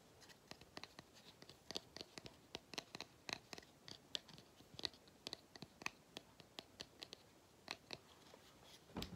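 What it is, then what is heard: Pleated paper filter, scratched and tapped. Fingertips and nails tap and scratch the pleats of a small, hollow cylindrical vacuum cleaner filter made of pleated paper with black rubber or plastic end caps, held up close. The result is a quiet, irregular run of crisp, dry clicks and scratchy rustles, bright and papery with almost no low end, each tap dying away instantly.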